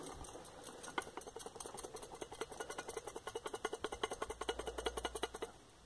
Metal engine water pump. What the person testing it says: that little knocking noise that you can hear as I shake it and the loose metal inside there